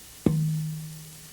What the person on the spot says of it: I'll hear another note a Higher One